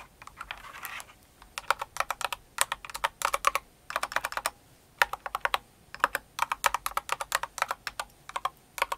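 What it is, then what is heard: Plastic mechanical keyboard. Long nails type on the number pad of a blue and white Cinnamoroll mechanical keyboard with plastic keycaps. The result is a steady stream of sharp, bright clicky keystrokes in quick bursts with short pauses between them.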